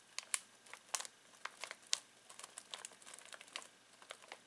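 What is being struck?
Foil-plastic snack bag.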